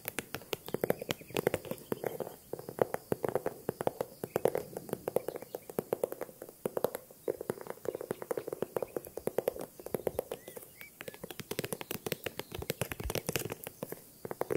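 A small handbag is tapped rapidly and continuously for the whole clip. The taps are quiet, crisp clicks that die away almost instantly, over a soft, steady midrange tone centred near 500 Hz.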